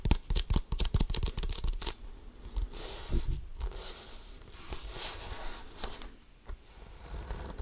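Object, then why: Inflated composite leather basketball. An inflated, hollow composite leather basketball held close to the mic is tapped rapidly with the fingertips, giving quick, dull, low thumps with almost no ring. After about two seconds the fingertips and nails scratch and rub across its pebbled surface, producing a softer, steady hissing scrape with brighter swells and an occasional light tap.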